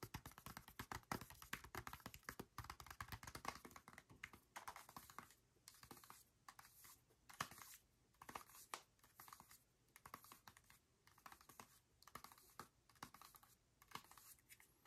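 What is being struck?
Plastic handheld game console with detachable controllers.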